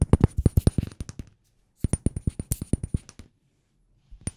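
Fingers tap rapidly on a glass room spray bottle, producing quick, hard, clinking taps that alternate between the bare glass and the labelled part, which sound different. The taps come in two dense bursts of short, low knocks with bright clicky edges and no ring, followed by a brief final flurry after a pause.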